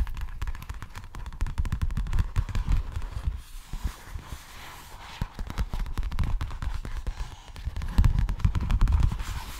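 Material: Plastic.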